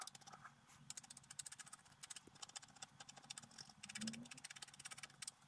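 A wooden stylus makes repeated short scratching strokes across a flat coated scratch-art paper card resting on a table, while the other hand holds the sheet. A quiet, rapid run of dry, bright scratches rasps on, each stroke brief, over a faint low hum.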